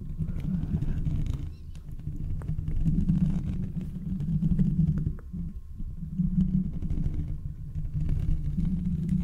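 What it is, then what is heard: Metal microphone grille being scratched. Fingertips and nails scratch and rub the hollow mesh metal grille of a handheld condenser microphone held up close. The result is a dense, muffled low rumble with a booming body, full of fine crackling scrapes. It swells and dips in uneven waves throughout, with only faint high detail.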